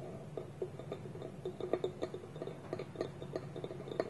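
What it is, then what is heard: Wooden bowl with lid. Fingertips and nails tap and scratch a small, round, hollow, polished wooden bowl sitting empty on a table, with its wooden lid held tilted against it. The result is a quick, irregular series of soft, dry wooden knocks with a hollow mid-pitched tone that dies away almost instantly, over a faint scratchy rustle.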